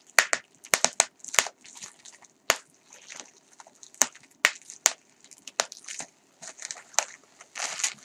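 A crumpled piece of clear plastic bubble wrap is crushed and twisted in the hands, popping and crinkling its air-filled bubbles. The result is an irregular series of sharp, bright pops that cut off almost at once, mixed with high crackling between them and no low end.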